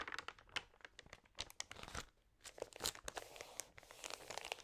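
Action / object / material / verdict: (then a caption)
scrape / glossy paper magazine / glossy paper / none. Fingertips and long nails rub and turn the thin, crinkly pages of an open glossy paper magazine. The result is quiet, dense crinkling and crackling made of many short, bright snaps with little low end, including a brief lull partway through.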